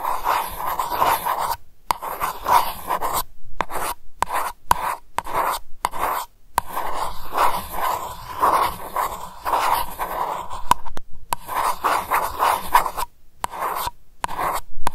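Long white nails scratch across the flat top of a round silver metal lid with a "Lavender" label, sitting on a glass candle jar. The result is a dry, rasping scrape in repeated short strokes, broken by brief silences and centered around a steady midrange tone.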